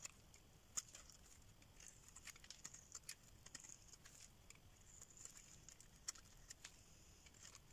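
A hand-sized, dry solid bar of soap with an orange rim and white inside is held in the hand and carved and scraped with a metal craft knife blade, with soap shavings piling up. Quiet, dry, bright scraping and crisp little clicks come in irregular bursts of short, sharp ticks with almost no ring, over a faint low hiss.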